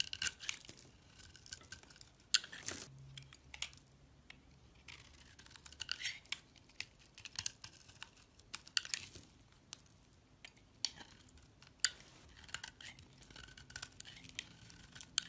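A metal utility-knife blade shaves a hand-held, solid, translucent amber oval glycerin soap bar, piling curls and flakes of soap on the bar. Quiet, bright, crisp scraping and scratching strokes repeat throughout, each ending almost at once with little low end.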